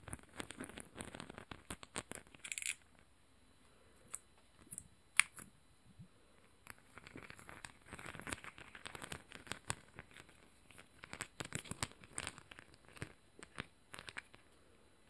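A flat, flexible, hand-length strip of many small multicolored plastic rhinestones in a zigzag pattern is held upright in front of a microphone and scratched and tapped with long manicured nails. The result is a quiet, dense stream of bright, crisp clicks and scratchy ticks with almost no ring, arriving in irregular bursts with brief pauses and one sharper tap standing out near the middle.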